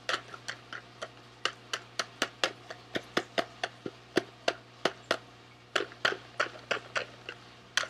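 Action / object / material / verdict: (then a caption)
tap / small cardboard candy box / cardboard / none. A small, sealed SweetTarts cardboard candy box is held in both hands while fingernails tap rhythmically on its sides. There are 27 short, dry, clicky taps with bright edges, each dying away almost instantly over a low steady hum.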